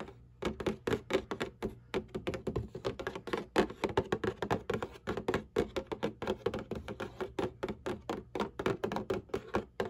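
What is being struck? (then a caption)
Cardboard tissue box. Long nails and fingertips tap and scratch the flat bottom panel of a cardboard Kleenex tissue box. Dozens of quick, irregular taps come about four per second, each a short hollow thunk with a low-mid body and a brief bright click that dies away almost at once. Soft scratching fills the gaps between them.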